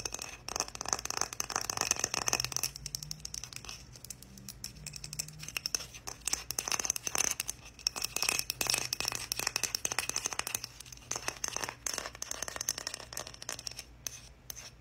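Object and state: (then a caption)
Wooden heart scratched with nails. A small, solid, flat heart made of strips of light and dark wood is held in both hands and rubbed and scratched with long painted nails and fingertips. Dense, rapid, bright scratching and crinkly rasps run throughout the clip in uneven bursts, with short clicks that stop dead.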